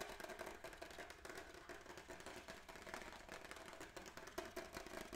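Fingertips and nails rapidly tap and scratch the textured back of a white-grey plastic graphing calculator case held up close. The result is a dense, steady stream of quick, dry clicks and bright scratchy rasps with almost no ring, and a faint hollow plastic tone underneath.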